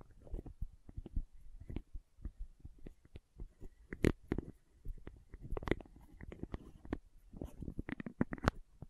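A small, hollow plastic condiment shaker bottle with a red cap is held close to the microphone and scratched and tapped with long nails. The result is a quiet, irregular run of dull, low-heavy taps mixed with soft scratching, each sound short and dry with no ring.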